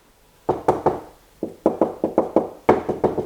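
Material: Wood.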